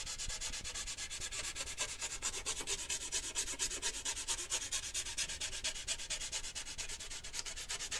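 Fingertips and nails rub and scratch the side of a large, lidded, handheld cylindrical metal cheese-puff tin decorated with a puppy print. The result is a steady, rhythmic, bright scratching hiss, with strokes repeating about twice per second at an even level. There is little low-end body and only a short ring after each stroke.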